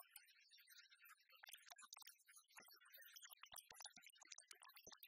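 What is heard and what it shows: A palm-sized, copper-coloured oversized penny replica of solid metal is held in one hand and tapped quickly with the long fingernails of the other. The result is a soft, rapid run of bright, dry clicks with almost no low end and very little ring after each tap.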